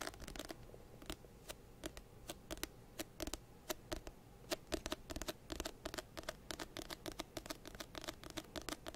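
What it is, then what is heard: Paperback book. An orange-banded paperback textbook of solid paper is held up beside the microphone while fingertips scratch and tap its cover. An irregular series of dozens of short, dry, bright taps with almost no ring sits over a soft, low papery scratching. The taps come sparsely at first and grow denser in the second half.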